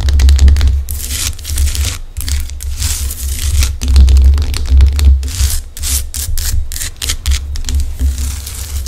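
Long decorated acrylic nails scratch and tap the craggy surface of a large, solid, rough-cut pink Himalayan rock-salt lamp held in the hands. Bright, gritty scratching bursts alternate with quick clicking taps. A steady low hum runs underneath throughout.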